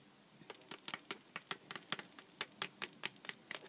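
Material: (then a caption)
Cardboard. A small, hollow Sour Patch Kids cardboard candy box stands on a cutting mat and is tapped on its side with long black-painted nails. About sixteen quick, bright clicks come in an uneven rhythm. Each dies away almost instantly, with little low end.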